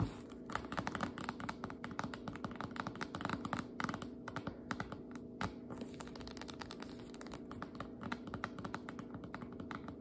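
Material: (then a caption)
Paperboard. Long nails rapidly tap the paper label on the sides and top of a tall Jumbo Biscuits dough can, which has a spiral-wound paperboard body and metal ends and stands upright on a cutting board, full and sealed. The result is a fast, continuous stream of dull, dry clicks, like typing on a keyboard, with almost no ring. The clicks sit mostly in the low and middle range over a faint steady low hum.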